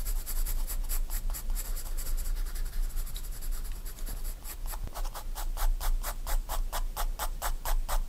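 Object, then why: Graphite pencil on a paper sketchbook page. A graphite pencil shades near a drawing on a spiral-bound paper sketchbook page, making a steady scratching, rubbing sound. Soft, irregular strokes in the first half give way to sharper, more evenly spaced bright strokes, over a constant low hum.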